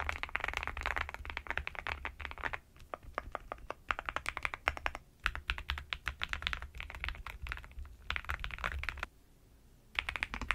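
A black NuPhy Gem80 mechanical keyboard with a metal-framed case and dark plastic keycaps rests on a bedsheet and is typed on with fingertips and long nails. Dense bursts of sharp, clicky keystrokes with a bright edge alternate with sparser taps and brief pauses. A low steady hum sits underneath throughout.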